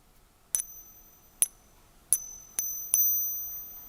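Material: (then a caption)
Gold. A counterfeit gold sovereign coin, probably a 21-carat Middle Eastern jewellery fake, is pinged five times, each giving a bright, high metallic ping with thin overtones that quickly fade, the last ringing a little longer. Its ping differs from a genuine sovereign's, and specific gravity and the Sigma dimension test confirm it is not genuine.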